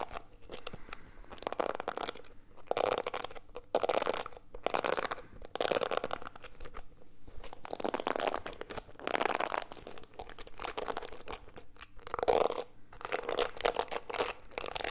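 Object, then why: Plastic paddle hairbrush with plastic bristles. Fingers scratch and stroke the plastic bristles of a solid, black plastic paddle-style detangling brush. Quiet bursts of dry, crinkly scratching rise and fall in a steady rhythm, centered in the midrange with a bright, hissy edge. Each stroke cuts off sharply, leaving no ring.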